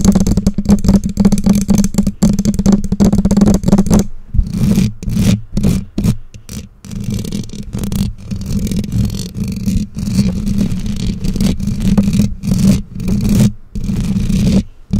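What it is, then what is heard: Metal microphone grille. Long nails scratch and tap the bare black metal mesh grille of a condenser microphone. The result is a dense, boomy rasp of rapid scratches for the first four seconds, then bursts of scraping and tapping broken by short silences. The sound is heavy in the low end with almost no high treble.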